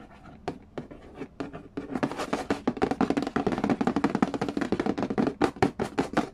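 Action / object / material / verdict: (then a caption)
tap / cardboard game box lid / cardboard / none. Fingertips and nails tap and trace across the printed lid of a large, flat, hollow cardboard Game of Life board game box. Soft, sparse taps in the first two seconds give way to fast, louder, irregular tapping mixed with scratchy tracing. Each hit is dry and short, with a hollow, papery midrange knock.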